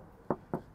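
Two knocks on a bare, untreated steel body panel in a car's trunk, for comparison with a sound-deadened door. Each knock is a short, hollow thud centered around 360 Hz with little high-frequency content. The untreated sheet metal sounds more resonant than the deadened door.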